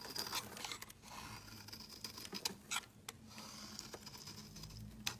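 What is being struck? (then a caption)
Bar of soap scraped by a metal blade. A metal utility-knife blade scrapes flakes off a large, rectangular, solid pale yellow citrus-lime soap bar held in the hand. It makes a series of crisp, dry scraping and crinkling strokes with a bright, high hiss and little low end. Between the strokes are quieter rasps.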